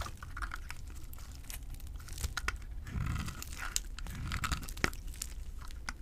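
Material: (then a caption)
Soap. A utility knife blade cuts into a small, solid orange and white bar of dry soap held in the fingers, scraping off crumbly shavings. Dry, crunchy scraping and crinkly crackles run continuously, with sharp bright clicks standing out over a low, muffled rumble.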